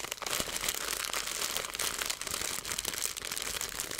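A clear plastic zipper bag with a green seal, about half full of small grey-black seeds (likely chia), is held in both hands and squeezed and crinkled with fingertips and long painted nails. A steady stream of bright, crisp crinkling and rustling fills the clip, with tiny crackles and faint seed shuffling and almost no low end.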